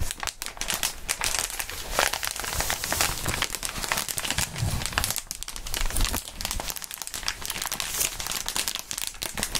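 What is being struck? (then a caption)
Inflatable plastic air-column cushioning sheet. A large clear plastic inflatable air-column cushioning sheet of hollow air-filled tubes is held in both gloved hands and squeezed, crinkled, tugged and bent. The result is a dense, continuous stream of bright crinkling and crackling with sharp snaps throughout, plus occasional low rustling thumps.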